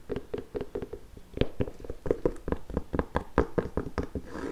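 Long nails tap and knock the leather upper of an empty pink nubuck leather work boot in Timberland style, with metal eyelets and a rubber sole. A quick, uneven run of dull, soft knocks sounds with muffled low thumps and a hollow mid-range body. Each tap dies away almost at once, with no bright ring.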